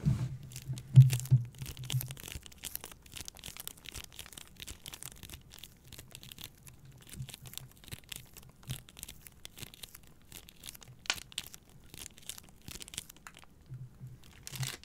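Long nails scratch and squeeze a plastic-wrapped pack of paper towel rolls, making dense, irregular crinkling and scratchy rustles. The sound is loudest near the start, then settles into a steady, quieter crackle with a faint low hum at the beginning and end.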